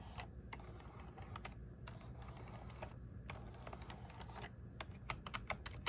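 Fingertips press and tap the keys of a small black plastic one-handed gaming keyboard with RGB backlight, resting on a desk mat. Quiet, sharp plastic key clicks come in irregular bursts, growing quicker and denser toward the end, over a steady low hum.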